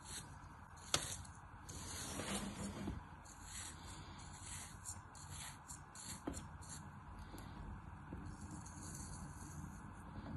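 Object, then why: Molded kinetic sand block cut with a tool. A solid handful of molded kinetic sand, held in the palm over a green plastic tray of sand, is cut into thin slices with a black tool. Soft, steady gritty scraping and hissing runs throughout, with a couple of brief sharp ticks as the slices crumble away.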